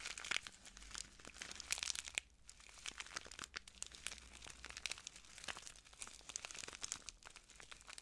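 A small clear plastic bag full of translucent granules is crinkled and squeezed by the fingertips of both hands. The result is a dense, continuous run of crisp, bright crackles and sharp clicks, with a brief quieter gap just after two seconds, over a faint low steady hum.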